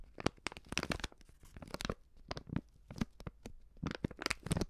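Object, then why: Plastic-film pouch of powdered seasoning. A hand-sized white plastic-film stand-up pouch of Coop Prix Streuwürze powdered seasoning, filled with powder, is held in one hand and squeezed and crinkled by the fingertips and long painted nails of the other. The result is a rapid, uneven run of crisp, dry crinkles and crackles, each burst bright and broadband with no ring, over a soft low rumble.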